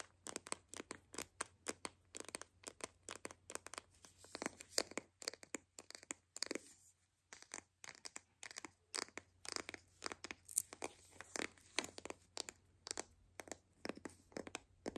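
A white hollow plastic toy capsule ball is squeezed and pressed with the fingers while fingernails scratch along its seams. Dozens of quick, bright crinkling clicks and crunches come in tight clusters, with a brief lull around the middle. A faint low steady hum runs underneath.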